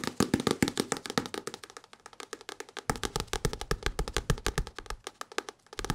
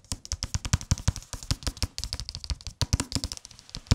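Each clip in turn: First: paperback book. Second: hardcover book with paper dust jacket.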